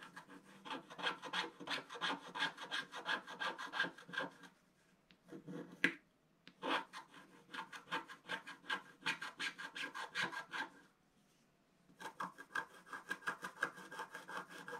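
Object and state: Scratch art paper sheet.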